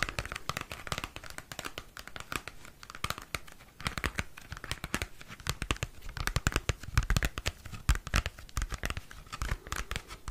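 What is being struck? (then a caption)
Cardboard CD sleeve. Fingernails scratch and tap across the surface of a thin, flat, small square cardboard CD album sleeve with a printed photo. The result is a dense, rapid run of dry, crackly scratches and soft, thumpy taps, with sharp clicks that fade almost instantly.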